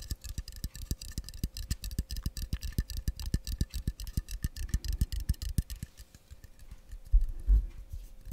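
Fingertips and nails tap rapidly on a hollow, pressurised, hand-sized blue cylindrical metal aerosol can, likely shaving foam or deodorant, held horizontally and then upright in front of the microphone. Around 44 short, dull, low taps come in a quick, uneven run over a faint steady hum. The taps then give way to softer handling and a louder knock near the end.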